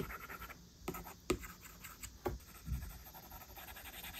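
A plastic stylus tip draws short strokes and taps on the glass screen of an iPad tablet while the fingertips of the other hand touch the screen. Soft, scratchy writing sounds run throughout, broken by four distinct sharp taps.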